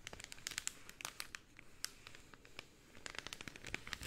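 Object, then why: Rolled cellophane tube. Pink cellophane rolled into a long, hollow tube is squeezed and crinkled with fingertips and nails. Quiet, bright crackles and sharp, dry clicks pop in dense clusters, ease off through the middle, then pick up again toward the end.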